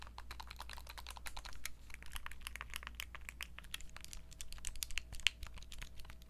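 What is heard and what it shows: Long nails tap rapidly and irregularly on a turquoise Nintendo Switch Lite, a small hollow handheld game console, striking its plastic body, buttons and glossy screen. The taps are dry, short, bright clicks over a steady low hum, with a faint thin tone entering partway through.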